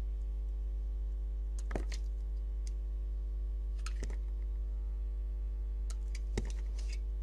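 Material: Soap.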